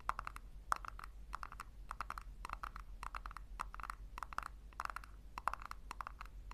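Long nails tap and scratch the base of a small, hollow, upside-down pink plastic tub, making quick bursts of light, dry clicks. The clicks center on a hollow midrange tone around 1.3 kHz with brief bright edges and come in rapid clusters about every half second over a faint low hum.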